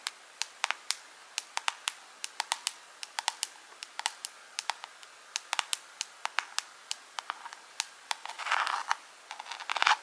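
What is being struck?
Small clear plastic jar with rhinestones.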